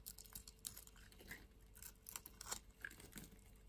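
A palm-sized solid blue bar of soap is held in the hand and scraped and carved with a metal utility-knife blade, shavings falling off. Quiet, irregular dry scratches and crisp crunchy scrapes come in quick bursts, with bright, hissy edges and short decays.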